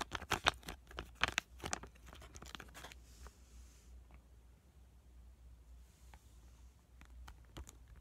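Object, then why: Laminated plastic-foil sachet holding a soaked sheet mask. A small, flat, printed pomegranate sheet-mask sachet of laminated plastic and foil, filled with a soaked mask, is held in both hands and squished and tapped with fingertips and short nails. Sharp, bright crinkling bursts fill the first three seconds, then give way to quieter, sparse clicks and light taps over a faint low hum.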